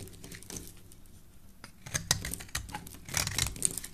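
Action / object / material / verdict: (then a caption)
scrape / bar of soap shaved with a metal blade / soap / none. A solid mint green bar of soap is held in the hand and shaved with a metal blade. The result is a run of quick, dry, bright scraping strokes with soft crumbly crackle and no ringing. The strokes are quiet at first and grow denser and louder toward the end.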